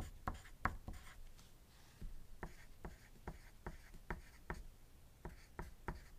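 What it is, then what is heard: Pencil writing on paper. A wooden graphite pencil writes on a thin white paper sheet resting on a desk, while other objects nearby stay still. The pencil makes about 13 short, dry scratching strokes, mostly low and dull with faint brighter edges, separated by quiet pauses.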